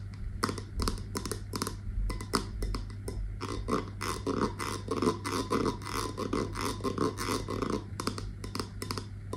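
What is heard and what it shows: Long nails tap and scratch the brown metal lid of a wax-filled candle in a glass jar, held close to the microphone. Quick, crisp clicks and scraping strokes come in dense bursts with bright edges over a steady low hum.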